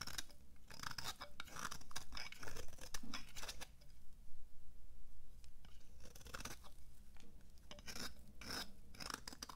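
A flat metal blade scrapes thin shavings from the flat face of a dry, solid purple oval bar of soap held in one hand. The result is a quick, uneven series of short, crisp scraping strokes with bright, papery bursts over a steady low hum, with a brief quieter pause midway.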